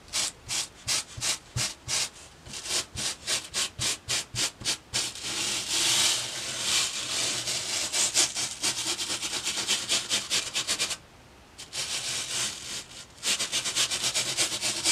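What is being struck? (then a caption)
Foam sheet scrubbed with a bristle brush. The bristles of a boar-bristle hair brush scrub a flat white foam sheet resting on a table in repeated rubbing and scratching strokes. The sound is a bright, hissy scratching: quick, separate strokes at first, then a denser, continuous rubbing with a brief pause near the end.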